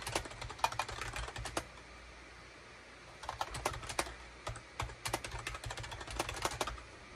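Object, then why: Plastic computer keyboard. Fingertips type and tap on a full-size gray and beige SHIPADOO K600 wired USB keyboard with hollow plastic keycaps, making quick, bright plastic clicks. Bursts of typing are broken by a pause of about a second and a half, with a faint low hum underneath.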